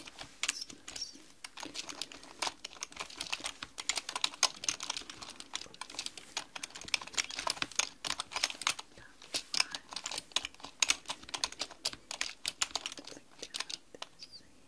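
Long manicured nails and fingertips type rapidly on a black mechanical computer keyboard with plastic keys. The result is a steady run of sharp, bright plastic clicks and taps that die away almost instantly, with very little low end.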